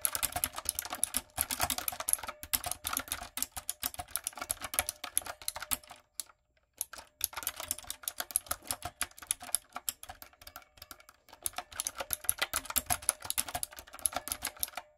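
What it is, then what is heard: Plastic mechanical keyboard being typed on. Long coffin nails and fingertips type on a backlit, typewriter-style mechanical keyboard with round retro plastic keycaps and a hollow plastic body. Rapid, bright clicking and clacking comes in dense bursts, with a brief pause around the six-second mark. The taps are sharp and dry with almost no ring and little low end.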